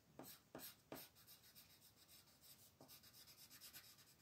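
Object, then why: Wooden colored pencil scratching over a thin paper sheet on a table. A royal blue wooden colored pencil scratches in coloring strokes over a thin white paper mandala sheet lying flat on a table. A few sharper strokes open the clip, followed by a steady, rhythmic run of soft, bright, papery scratching.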